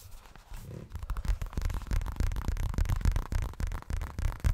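A hollow pink leopard-print zippered cosmetic pouch, probably of coated fabric, is held in both hands and tapped and scratched with fingernails. After a quiet, soft scratchy first second, fast, uneven taps and scratches follow. They sound mostly as dull, low, muffled thumps that die away almost at once.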